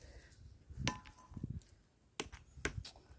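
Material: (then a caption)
Stone. An ordinary stone at a tomb on Khilla Ghanapuram fort hill is struck with another stone for comparison. Sharp, short clicking knocks are heard with almost no ring, a normal dull sound.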